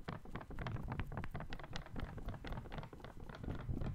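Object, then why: Folded paper sheet. A small folded white paper sheet is squeezed and crinkled by the fingertips of one hand in front of the microphone. A dense, irregular run of soft, quick crackles and rustles follows, with weight in the low end, a thin bright edge, and a steady, quiet level throughout.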